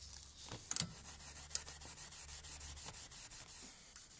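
A gloved hand rubs and brushes over the top mechanism of a 1908 antique typewriter frame of black-painted metal with exposed steel parts, resting on a table during restoration. Repeated soft, bright scrubbing strokes make a steady high hiss, with a couple of sharper metallic clicks early on and little low-end weight.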